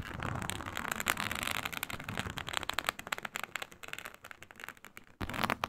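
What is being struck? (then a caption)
Embossed synthetic leather mat. Long nails drag and scratch across the scale texture of a flat, iridescent faux snakeskin mat made of embossed reptile-pattern synthetic leather. The result is a dense run of crackly, bright scraping bursts with quick, dry, clicking strokes. After a brief near-silent pause, a louder scratching passage resumes.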